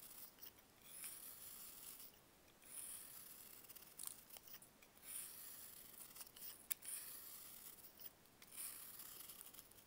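A solid block of dried baking soda, held in bare hands, is cut and carved with a box-cutter blade. Quiet, bright, gritty scraping and crunching comes in uneven bursts, with a few sharp crackles and little low end.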